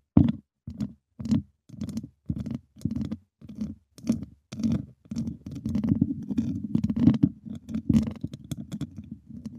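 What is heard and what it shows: Two wooden chopsticks scrape and tap the hollow, dome-shaped wire mesh grille of a silver microphone. Short, separate bursts of gritty scratching with a hollow, low-mid body and faint bright grain come first, then run together into denser, nearly continuous scraping with quick taps.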